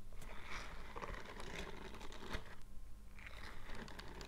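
Bare fingertips scratch and stroke the dense bristles on the palm and fingers of a purple silicone scrubbing glove. The result is a quiet, continuous run of soft, scratchy rustling bursts with brief brighter flicks over a steady low rumble.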